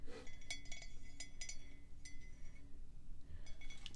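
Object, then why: Ceramic coffee mug. A matte black ceramic coffee mug with a printed slogan, hollow and apparently empty, is held in one hand and tapped on its side and rim with long pink acrylic nails. Quick, bright clinks sound over a low, steady hum. Each tap rings with high tones and dies away almost at once.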